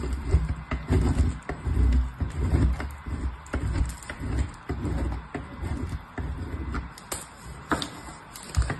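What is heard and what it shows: A solid purple bar of soap, held by the fingertips, is rubbed across the punched holes of a painted metal box grater, and soap shavings pile up on the patterned paper below. Dull, low, rasping scrapes repeat in uneven strokes, with occasional sharper bright scratches.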